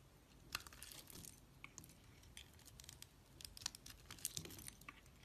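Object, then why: Bar of soap. A hand-sized solid red square bar of soap with an embossed flower, held in hands with long nails, has its surface scraped and peeled with a metal snap-off utility blade. The result is a run of quiet, bright, dry scraping and crinkly tearing sounds, with sharp crisp clicks as the blade catches and soap peels away.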